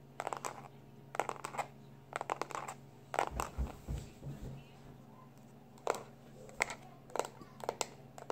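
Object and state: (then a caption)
Plastic external hard drive. A small black plastic external hard drive is held in both hands and tapped with the fingertips, giving bursts of quick, dry, bright clicks with almost no ring. Its edge is then scratched with short nails, adding a softer, lower rubbing texture between the taps over a faint steady hum.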